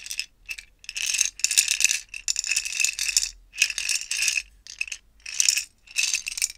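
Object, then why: Clear plastic jars with small metal beads. A small stack of five clear plastic screw-together jars, held horizontally and partly filled with small silver-gold metal beads, is shaken between two hands with long painted nails. The beads rattle inside in repeated bright, crisp bursts separated by short pauses, with almost no low end.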